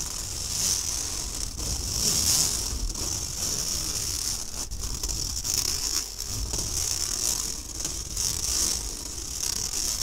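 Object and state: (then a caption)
Stainless steel mesh sieve. Fingertips and nails scratch across a round, fine-mesh stainless steel kitchen sieve with a steel rim, held upright, hollow and empty. A steady, bright, hissing scratch rasps on for the whole clip, swelling and easing slightly with the strokes, over a faint low rumble.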